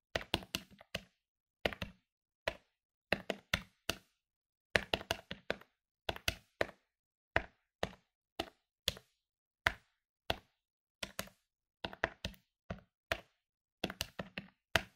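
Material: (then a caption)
Plastic. Fingertips rapidly press the plastic keys of a medium-sized plastic electronic desktop calculator lying on a wooden table. Quick, dry clicks with almost no ring come in short bursts separated by brief pauses.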